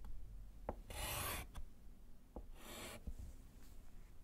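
A gloved hand writes with pink chalk on a small, flat, solid slate chalkboard in a wooden frame. Two long, bright, hissing chalk scratches are heard, with short sharp taps of the chalk against the board between them and a low rumble underneath.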